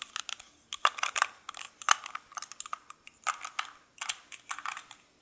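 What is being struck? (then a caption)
Metal lipstick tube and cap. A small gold-coloured metal lipstick case with lipstick inside, held in both hands by the fingertips, has its cap clicked on and off the tube. The result is a quick, uneven run of short, dry, bright clicks and taps, some with a faint metallic ping around 1.2 kHz, separated by brief near-silent gaps.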